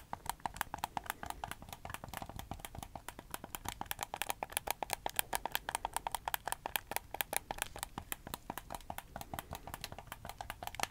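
Fingertips tap and click the buttons of a hollow red handheld plastic gamepad and tap its shell, holding it in both hands close in front of the microphone. Rapid, dry plastic clicks and taps follow one another in a steady stream, each with a bright, hollow snap centered around 836 Hz and almost no ring.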